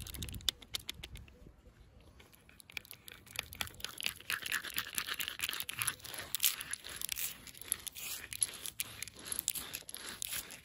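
Brass thimbles on the fingertips tap and scratch the round sawn end grain of a solid firewood log with visible growth rings. Many quick, dry, bright clicks and scratchy rasps follow in dense bursts, with a faint metallic edge and almost no ring after each touch.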